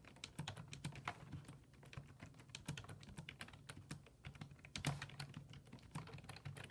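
Fingertips type rapidly on a black plastic full-size desktop keyboard with low-profile keys resting on a wooden desk. A dense, steady stream of short, clicky keystrokes with a low thump beneath bright clacks, each dying away almost instantly.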